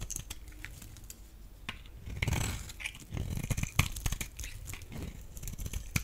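A blade shaves crumbly flakes off the edge of a solid, rectangular, pale yellow bar of dry laundry soap. It makes dry, crunchy scraping and crackling with sharp bright clicks over a low rumble. The strokes swell and fade across the clip.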